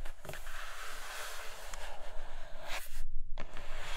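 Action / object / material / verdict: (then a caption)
scrape / cardboard box with clear plastic window / cardboard, plastic / none. Long nails tap and scratch across the clear plastic window of a flat grey cardboard Nomad box. The result is a steady, dry, bright scratching rasp over a low rumble, broken by a few sharper taps and a short quiet gap near the three-second mark.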